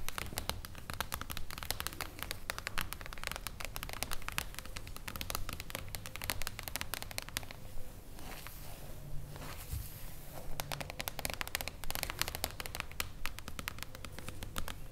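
Long blue acrylic nails tap rapidly across the solid silver mirror-foil cover of a flat hardcover book, "IO, NOI, L'ALTRO", lying on a wooden table. The taps are dense, irregular, bright clicks over a low rumble, easing briefly into a softer rustling scratch around the middle before resuming.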